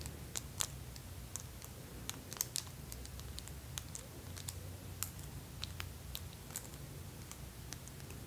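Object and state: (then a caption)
Acrylic nails clacking together. Extra-long hot-pink acrylic press-on nails, each decorated with rows of small plastic fake teeth, clack and tap against the nails of the other hand. The result is a quiet, irregular run of sharp, dry, high clicks with no ring, over a steady low rumble.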